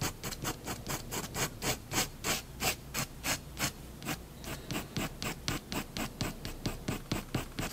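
A fineliner pen tip scratches short shading strokes beneath a drawn cat on a flat white paper sheet lying on a wooden desk. About 30 quick, dry scratching strokes follow one another at a fast, slightly uneven pace, each a brief bright rasp with a soft low undertone. A short quieter pause comes around the middle.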